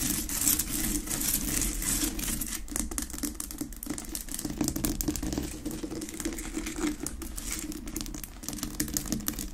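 Long nails tap and scratch fast across the rough crystal surface of a large, solid, unlit pink rock-salt Himalayan salt lamp on a wooden base. The result is a dense, steady stream of quick clicks and gritty scraping with bright, hissy highs and a low body around 300 Hz, holding at a fairly even level throughout.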